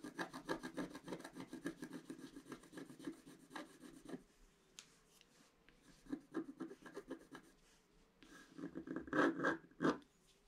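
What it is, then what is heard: Scratch-art paper being scratched. A pointed wooden stick scratches a flat scratch-art page, a black coating over colored paper. Rapid, dry rubbing strokes rasp steadily for about four seconds, fall quiet, return in shorter bursts, and end with a few louder, harsher scrapes.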